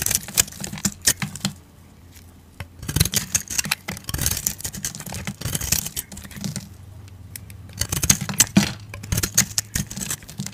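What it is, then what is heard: Soap ball carved with a blade. A metal utility blade scrapes and carves flakes off a solid, rounded, hand-sized soap ball speckled with red and green confetti, held in a hand with long nails. Bursts of bright, crisp scraping and flaking come in clusters, separated by brief quiet pauses, over a faint low hum.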